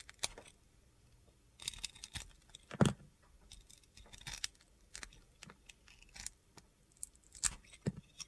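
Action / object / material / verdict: scrape / soap bar with glittery coating / soap / none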